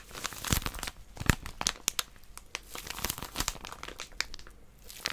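A small white plastic-wrapped paper packet with a barcode is gripped and squeezed by long nails that scratch its surface. Dense, bright crinkling and crackling from the wrapper comes in rapid, irregular bursts. A few sharper snaps stand out, including one strong thump with low body near 1.3 seconds.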